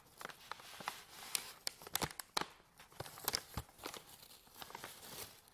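An empty, hollow medium white paper bag with a folded top is crumpled, pressed and crinkled with fingertips and medium nails. Dry, bright crackles and sharp papery snaps come in quick, uneven bursts over a quiet background, each dying away almost instantly.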